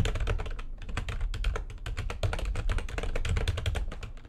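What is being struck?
Plastic computer keyboard.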